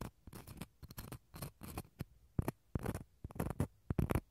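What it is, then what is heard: Dried gourd shell scratched inside. A wooden toothpick scratches the rough, fibrous inside of a small, hollow dried gourd shell cut in half and held in the hand. It makes a quick series of short, dry scratching bursts with a low, hollow body and almost no ring between strokes.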